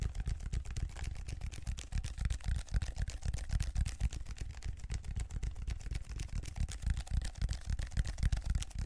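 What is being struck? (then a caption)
Ridged plastic foam roller. Fingers rapidly scratch and tap the ridged grid pattern of a large black plastic textured foam roller held horizontally in both hands close to the microphone. The result is a dense, uneven stream of short, dry, low thumps with faint scratchy texture, each dying away almost instantly.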